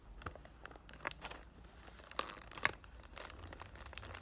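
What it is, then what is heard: Cellophane-wrapped cardboard box crinkled. Fingertips with short dark-painted nails rub and crinkle the clear cellophane wrap across the front of a palm-sized rectangular cardboard perfume box (Ariana Grande Thank U Next, 100 ml) held in both hands. Soft, irregular plastic crackles fill the clip, with a few sharper, brighter snaps standing out above a quiet, low background.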